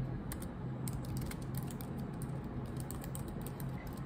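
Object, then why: Laptop keyboard with plastic keys. Long nails type rapidly on a laptop keyboard with black plastic keycaps, making a quick run of light, bright clicks and taps. The clicks sit over a steady low hum, and the hands lift off the keys at the end.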